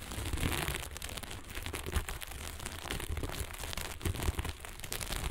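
A flat sheet of fabric covered in small plastic sequins lies on a table and is scratched and rubbed fast with the long almond-shaped nails of both hands. The result is a dense, continuous crackling and rustling with bright, crisp clicks over a low rumble, broken by brief louder scrapes.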